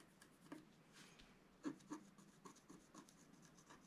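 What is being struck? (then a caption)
Coated paper sheet scratched with a wooden stylus. A wooden stylus scratches short strokes into the black coating of a flat, thin scratch art sheet. The quiet, dry scraping comes in irregular bursts, roughly four per second, with a few sharper accents and a faint bright rasp.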